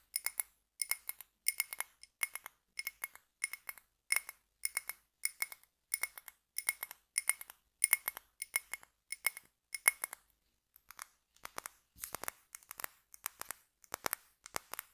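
A small clear glass jar filled with solid red scented wax is held in the hand and tapped and scratched on its glass wall with fingertips and nails. Quick, bright, clinking taps come in rapid clusters with a glassy ring around 2.2 kHz. After a brief pause near ten seconds, the taps turn scratchier and more hissy.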